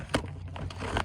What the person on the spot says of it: when i shake it it sounds like some kind of a snack and in fact it is